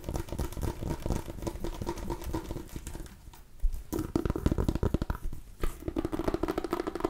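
A small white and orange striped decorative pumpkin, a hollow-ish gourd with a hard rind, is held in both hands close to the mic and scratched and tapped with long nails. The result is a dense run of short, dull, low-heavy taps over raspy scratching, briefly quieter around the middle before louder, sharper taps return.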